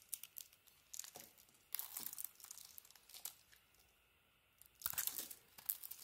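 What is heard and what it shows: A solid yellow bar of soap with a purple coating, held in the hand, has its edges scraped and carved with a utility knife blade. Soft, bright, crumbly scraping and tearing strokes come in uneven bursts, then a near-silent pause, then a final flurry of louder scrapes.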